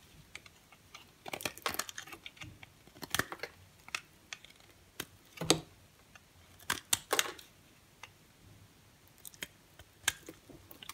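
A dry, brown-and-cream striped solid bar of soap is held in the hand and shaved with a box cutter blade. Short, crisp scraping crackles come in irregular bursts, bright and brittle with almost no low end, each dying away quickly into quiet.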